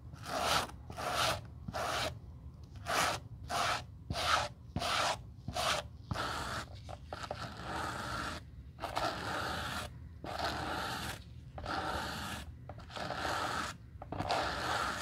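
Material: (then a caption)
Suede leather. A white-bristled suede brush scrubs the side and heel counter of a black suede leather Gucci loafer during restoration. Short, bright scratchy brushing strokes come in quick bursts at first, then give way to longer, steadier rubbing passes with a dry, rustling texture.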